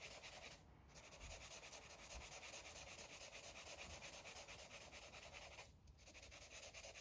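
A green felt-tip marker is rubbed and scribbled over a paper coloring book page. It makes a steady, bright, scratchy rubbing sound of quick back-and-forth strokes, about three a second. The scribbling dips briefly near the start and again near the end.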